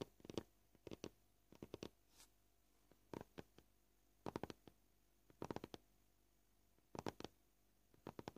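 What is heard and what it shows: Short purple fingernails tap the top of a solid white plastic cutting board with a scratched surface. They make gentle, dry clicks with almost no ring, in quick bursts at a varied pace. Quiet pauses fall between the bursts.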